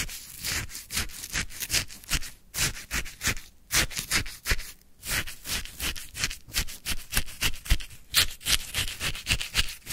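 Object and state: Frozen lemon sherbet scraped, crunchy icy.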